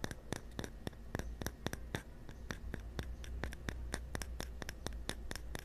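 A small, hollow, cylindrical bamboo cup is handled and turned, then set upright over a microphone and tapped and scratched with the fingertips. The result is a steady run of quick, dry, clicky taps with bright, sharp attacks and almost no ring, mixed with soft scratching over a low, rumbling hum.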